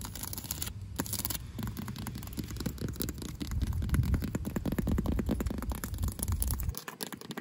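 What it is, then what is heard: Asphalt pavement scratched with nails. Long pink acrylic nails scratch and tap the rough surface of cracked asphalt pavement, which is solid and gritty. A dense stream of gritty, rasping scrapes mixed with quick taps builds in intensity, then stops abruptly near the end.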